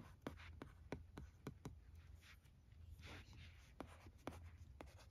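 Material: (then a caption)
Plastic. A red plastic stylus writes cursive on the screen of a teal plastic LCD writing tablet resting on carpet. Soft scratching strokes are broken by short, sharp taps over a steady low hum. The sound is quiet and close.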